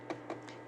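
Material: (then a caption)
Bread crust. Three light taps on freshly baked piroshki buns give short, dry, crunchy knocks, showing the crust is hard before it is brushed with butter to soften it.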